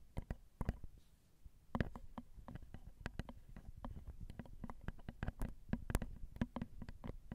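Long acrylic nails tap on the crossed, small, hollow silver metal X/Y microphone capsules of a Zoom recorder. A steady stream of quick, dry clicks lands over a deep low thump, the taps close together with only a brief pause near the start.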